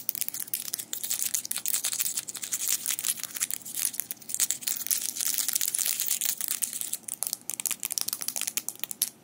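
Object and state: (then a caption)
Metal fingerpicks clicked together. Small metal fingerpicks worn on both hands are clicked and rubbed against each other with the fingers interlaced. The result is a dense, continuous stream of sharp, bright metallic clicks and scraping rustles, almost entirely in the high range, with no low end.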